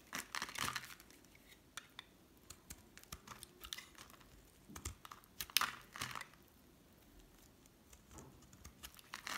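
A solid pink bar of hard soap, held in one hand, is shaved and scraped with a metal utility blade, and flakes crumble off. Short, dry, bright scraping and crackling strokes come in irregular bursts separated by quiet gaps, with the loudest cluster near the middle of the clip.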